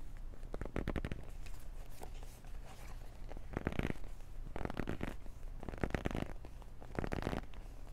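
A small, hollow black cardboard Beats earbuds box with its contents inside is gripped and scratched with long nails and fingertips. Quiet bursts of dry scratching and rustling come in clusters over a steady low rumble, with the strongest ones near the middle and end.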